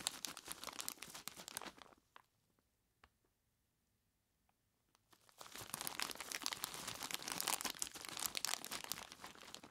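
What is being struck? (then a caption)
Plastic bag of ice cubes. Fingertips of both hands squeeze and rub a large clear plastic bag full of ice cubes, crinkling the plastic and crunching the ice in dense, bright, rapid crackles. The sound stops for about three seconds, leaving only a few faint clicks. Then the crinkling and crunching resume steadily until the end.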